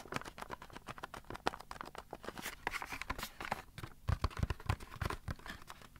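A small, hollow printed cardboard toy box holding a Magic 8 Ball is turned over on carpet while fingertips and nails tap and scratch its sides. Dense, quick, dry taps and scratchy rustles run throughout, with a few deeper, hollow thumps near the end.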